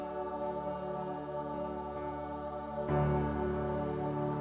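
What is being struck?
Nothing is struck.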